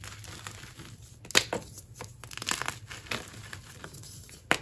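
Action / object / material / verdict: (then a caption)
scrape / magnesium carbonate gym chalk block / chalk / none. Bare hands crush and grind dry white gym chalk chunks (magnesium carbonate block) into powder between fingers and palms over a tray of chunks and powder. The sound is a bright, dry crumbling and crinkling, with sharp crunches standing out at about 1.4, 2.5 and 4.6 seconds over soft gritty rubbing. The solid pieces break down into powder.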